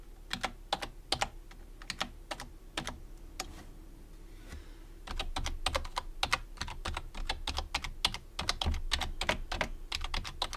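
Fingertips type on the main keys and the numpad of a white plastic computer keyboard, producing quick, bright, dry clicks with almost no ring. The taps come in bursts with a short lull in the middle, then return denser and louder over a low steady hum.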